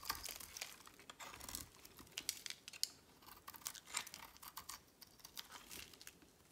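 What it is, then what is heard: Dry bar soap being carved. A utility knife blade carves flakes from a solid red oval bar of dry soap held in the hand. The scraping cuts come as a quiet, irregular run of short, dry, crisp crackles and crinkles, bright and airy with almost no low end. Each stroke stops dead with no ring.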